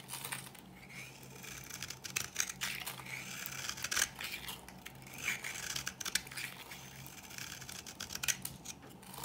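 A metal blade cuts flaky shavings off the edge of a dry pink solid bar of soap. It makes a steady, bright, crisp scraping and crackling, broken by sharper louder scrapes. A faint low hum runs underneath.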